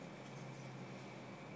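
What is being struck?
Nothing is struck.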